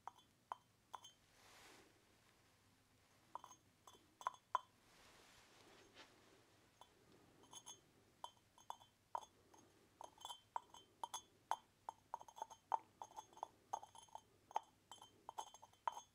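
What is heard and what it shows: Fingers lift, rattle and tap the clay lid of a small hollow unglazed orange terracotta pot with handles and holes against its rim. The result is crisp, short clinks that ring briefly around 880 Hz with bright overtones. They come sparsely at first, then in quicker clusters through the second half over a quiet background.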